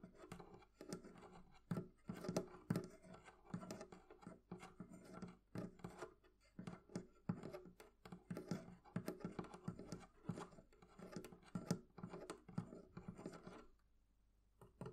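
Long nails scratch and tap a metal hasp latch on a hollow wooden barrel chest. The result is a quiet, steady run of rapid clicks and scrapes with a low, hollow body. The sound falls silent briefly near the end before a few last taps.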